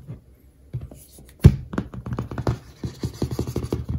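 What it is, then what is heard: Paperback textbook with glossy card cover. Fingertips and short nails tap and scratch across the orange glossy laminated card back cover of a large "Professional Baking" paperback textbook, a solid stack of paper lying flat with its back cover up. A loud, dull tap stands out, followed by a rapid run of soft, low, thudding taps that die away almost instantly, with faint scratchy brushing between them.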